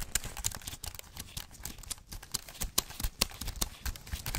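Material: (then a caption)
Aluminum, plastic. A thin white wireless Apple keyboard with an aluminum body and plastic keys is held upright while gloved fingers tap and type on it. The result is a rapid, irregular stream of short, dry clicks, each with a soft low thump underneath and a crisp high edge that dies away almost instantly.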